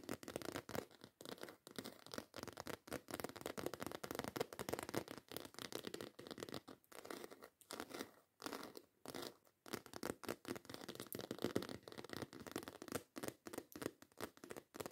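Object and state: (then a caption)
Textured faux leather bag scratched with nails. Long acrylic nails scratch rapidly over the textured scales of a black croc-embossed faux leather handbag held close. The result is quiet, dry, raspy strokes in quick, uneven bursts with short gaps, centred in the low-mids with a thin bright hiss on top.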